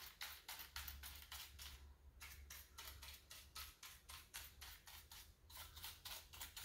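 Fingertips press, rub and scratch across the plastic keycaps of a full-size black plastic keyboard with a hollow body resting on a granite counter. A rapid run of bright, hissy brushing strokes repeats with brief pauses, over a steady low hum.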